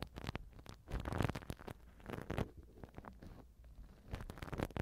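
A black silicone ear pick held by hand scrapes the right silicone ear cover of a TASCAM microphone. The result is a soft, close, mostly low rubbery scratching and rumbling, with many short scrapes and a few brief brighter ticks.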